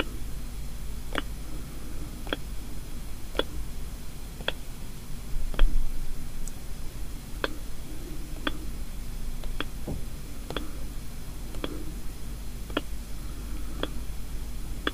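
Single fingertips and nails tap lightly on the lid of a small, closed paperboard gift box. Short, dry clicks and ticks sound at a slow, uneven pace over a steady low hum, with each tap dying away almost instantly.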